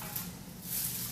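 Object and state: Nothing is struck.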